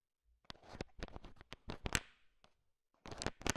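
A thin wooden stick stirs through a large pile of small, solid, sugar-shell-coated M&M chocolate candies, making the candies click against each other. Bursts of dry, bright clicking and rattling come in quick clusters with short, crisp attacks. After a brief quiet pause, another flurry of clicks follows.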